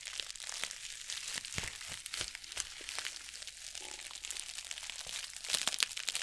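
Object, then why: Plastic bubble mailer envelope. Long nails scratch and tap across the plastic surface of a white bubble-lined mailer envelope held close in front of a microphone. The result is a dense stream of bright, crinkly scratches broken by sharp little clicks, with almost no low end.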